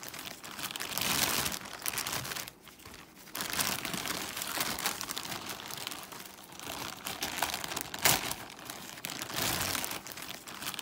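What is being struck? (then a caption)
Thin plastic mailer bag. Fingers crinkle and rub a large white plastic Amazon poly mailer bag made of thin plastic. The result is a steady, bright crinkling and rustling, with a brief quieter pause near the start and a sharper crackle about two-thirds of the way through.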